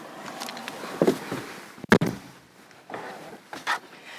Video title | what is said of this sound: CLE 200 クーペスポーツ（CLE 200 Coupe Sport）／メルセデス・ベンツ Mercedes-Benz【内外装＆使い勝手編】全く新しい車種登場！CとEのあいだのクーペです | Ya puedes oírlo por el sonido de la puerta al cerrarse.